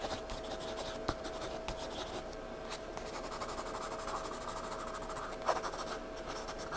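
A graphite pencil held in the fingertips scratches and shades on the page of a spiral-bound paper sketchbook lying flat on a table, building a dark scribbled patch. The result is a steady, soft, dry rasp with a bright hiss and a faint constant tone beneath it, broken by a couple of sharper ticks where the lead catches the paper.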